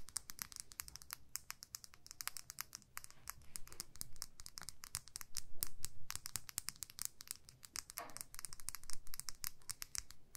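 Long nails tap and scratch along a small clear plastic lip gloss tube filled with pink gloss. Rapid, irregular clicks and scratchy strokes run throughout, each tap sharp and bright and dying away almost at once, over a low, steady hum.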